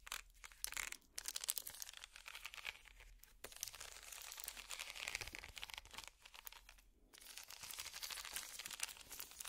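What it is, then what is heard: Wicker basket. Plastic finger picks scratch a small, empty, hollow woven wicker basket, making a dense, bright, crackly rasping with almost no low end. The scratching runs in quiet bursts, broken by short pauses near one second, around three and a half seconds, and between six and seven seconds.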